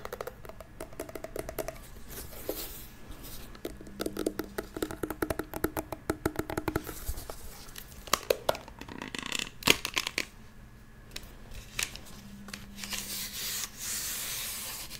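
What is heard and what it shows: A small, hollow, blue glitter plastic toy handbag with a cartoon face and a clear handle is held beside the mic and rubbed and tapped with long nails and fingertips. Quiet, crisp clicks and dry scratchy rubbing come in dense bursts with bright, hissy texture and very short decay.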